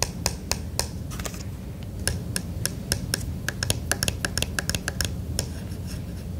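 A fingertip and nail tap the clear plastic flashlight lens on the red plastic end of a plastic emergency radio. About 23 short, dry, bright clicks come at an irregular pace over a steady low rumble, each dying away almost instantly.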